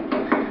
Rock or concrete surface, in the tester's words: bang it to see if it sounds hollow